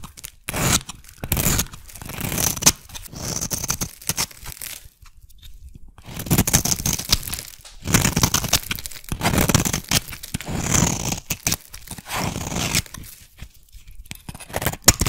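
A metal blade shaves curls off a solid, translucent, hand-sized yellow soap bar, scraping and carving it. Dry, crunchy, tearing scrapes come in irregular bursts, broadband with a bright hiss on top and a soft low body. Brief quiet pauses fall between the strokes.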